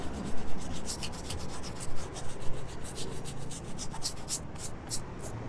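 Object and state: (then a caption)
Leather sneaker being scrubbed with a small brush. A small blue toothbrush scrubs the upper of a white and beige leather sneaker with a suede panel, worn on a foot, in a rubbing and brushing motion. Quick, scratchy bristle strokes rasp brightly over a low, steady rumble, with short swells of louder scrubbing throughout.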